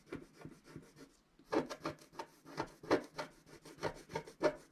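A wooden stylus scratches across a flat scratch-art sheet of black wax-coated paper at its upper right while the other hand holds the sheet down. Quick, dry scratching strokes repeat in a steady rhythm, softer at first, then after a brief pause becoming louder and brighter with a raspy, rubbing texture.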